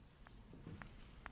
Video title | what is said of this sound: The History of the World (Part 1) | If you tap it, you can hear that this tablet is very tough indeed.